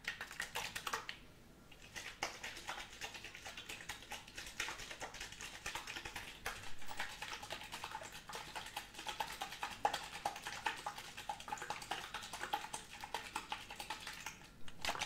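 A medium clear plastic drinks bottle with a green cap, partly filled with orange liquid, is held in one hand and shaken at arm's length. It makes a dense stream of quick, bright sloshing and tapping clicks, with a short quieter pause near the start before the shaking continues steadily to the end.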